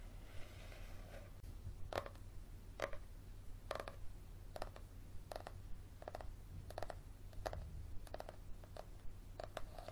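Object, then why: Paperback book cover and page edges. Fingernails tap and scratch along the cover and page-block edges of a thick yellow paperback held sideways, making short, dry, papery taps with bright clicky edges. The taps come at an uneven, unhurried pace between softer scratching, over a steady low hum.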